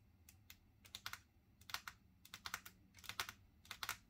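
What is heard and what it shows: Long natural fingernails with silver polish tap on a flat, solid wood-grain tabletop, with both hands resting on the table. About seventeen sharp, bright clicks come in quick irregular bursts, each dying away almost instantly over a faint low background hum.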